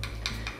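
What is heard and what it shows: A flower cast from melted Wow! Melt-It powder is tapped three times while still in its mold to check whether it has hardened. Each tap gives a short, bright tick over a low steady hum. The flower has set and unmolds clear and translucent.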